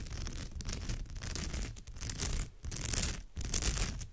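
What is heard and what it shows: Fingertips and long nails scratch and rub the textured weave of a woven straw or raffia purse. The result is a steady, dry, crackling rasp with a bright, brittle edge over a low rumble. It swells and dips in uneven strokes with brief quiet gaps between passes.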